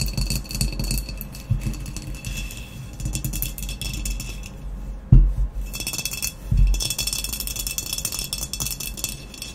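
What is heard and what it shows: Long nails tap quickly and irregularly on the matte black textured body of a hollow glazed ceramic vase, making dry clinks with a bright, glassy edge over a low hollow resonance. Midway, the vase is moved and then set upright with two heavier knocks before the fast tapping resumes.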